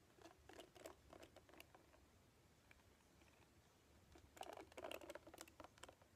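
Long painted nails scratch and strum across the black cushion of many bristles on a hand-sized red plastic paddle hairbrush held in one hand. The result is quiet, dry, irregular patter and scratchy clicks with a bright crackle, in a cluster of quick strokes at first, a softer lull, then a denser, louder flurry near the end.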